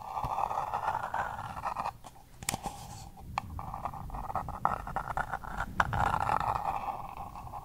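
Long purple nails scratch and tap the paper wall and rim of a small, empty pink paper cup held close to the microphone. A steady, papery scratching centered in the midrange is broken by several sharp, clicky taps. The result is a dry, rustling texture with brief bright transients.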